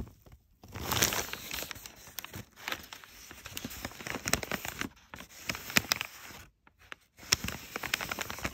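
Crumpled brown kraft packing paper is pressed, rubbed and scratched across its creased surface by fingertips. The result is dense, bright crinkling and crackling in bursts, separated by brief near-silent pauses.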